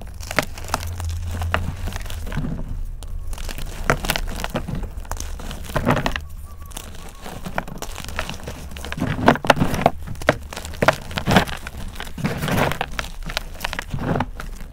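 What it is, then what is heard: Dried chalk and cornstarch clump crumbling. Fingers crush brittle solid chunks of a pink dried gym chalk and cornstarch mudpie, crumbling them into powder. Dense, dry crackling and crunching runs throughout, with short sharp snaps that fade almost instantly, over a steady low hum.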